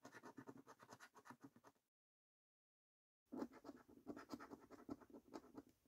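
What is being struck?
Paper scratch card with latex coating.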